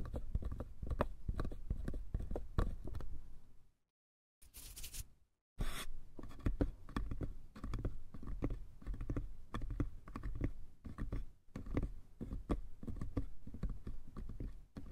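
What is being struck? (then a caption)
Small wooden box. Fingertips and nails scratch and tap the sides and lid of a small, hollow wooden box, making a dense run of dry, short, low-heavy taps and scratches. The sound drops to near silence around the four-second mark, broken by a couple of brief bright hissy bursts, then the steady scratching and tapping resumes for the rest of the clip.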